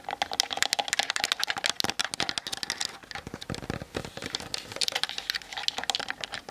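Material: Plastic.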